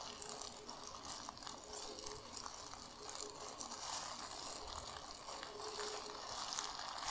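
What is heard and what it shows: Long nails and fingers crumple, scrunch and scratch a large, empty, soft, white plastic bag with a recycling code printed on it. A steady, bright crackling rustle fills the clip with little low end and a faint tone near 430 Hz running underneath.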